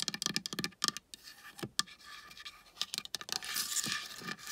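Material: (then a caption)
Wood. Long painted nails and fingertips tap and scratch a large, flat wooden board painted with dolphins and a palm tree. Quick, bright clicky taps come in bursts, broken up by dry, crisp scratching strokes. The hits are sharp and high-pitched and die away almost at once.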